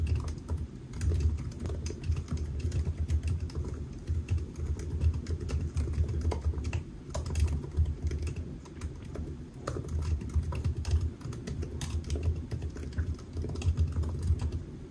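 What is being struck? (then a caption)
Laptop keyboard, plastic keys on aluminium body. Fingertips of both hands type steadily on a silver aluminium laptop with solid black plastic keys resting on a white desk. The result is a dense, continuous stream of soft, muffled key taps with a low, thumpy body and very little brightness.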